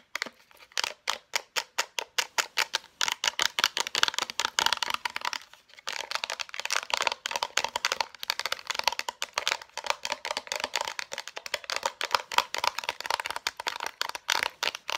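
A small Maybelline concealer sealed in a clear plastic blister on a cardboard backing is tapped rapidly by long nails. The result is a fast stream of bright, crisp plastic clicks with a tonal ping near 1 kHz and almost no low end, each tap dying away at once. The tapping briefly pauses around the six-second mark before resuming just as quickly.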